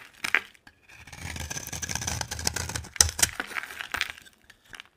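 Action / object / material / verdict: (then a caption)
scrape / bar of soap carved with a knife / soap / none. A utility knife scrapes and carves the top edge of a solid, dry orange bar of soap. Bright, crisp shaving and crackling sounds run through the middle of the clip, with a few sharp clicks near the start and end. Quiet pauses separate the strokes.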